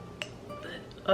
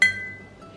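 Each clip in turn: First: authentic heavy ironstone dish, dull thud. Second: newer non-authentic ironstone-style dish, bright clink.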